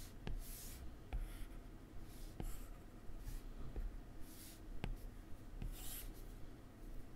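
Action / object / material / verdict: tap / glass tablet touchscreen with plastic stylus / glass / none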